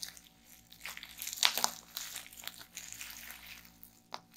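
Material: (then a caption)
Plastic. A small piece of clear plastic bubble wrap is held in both hands while the fingers twist, pinch and pop the bubbles. Bright, crisp crinkling runs throughout, with sharp snapping pops that peak around the middle and one more near the end.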